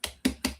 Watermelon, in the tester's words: It's having this hollow drum sound.